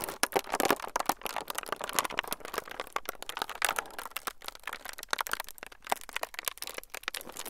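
A thin clear plastic film sheet is pinched and crinkled by the fingertips of both hands close to the microphones. It makes a dense, continuous crackle of sharp, quickly fading snaps and rustles, bright and airy with almost no low end.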